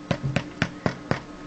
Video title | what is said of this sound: Delicious Bread Rolls | when you tap it ... sounds quite Hollow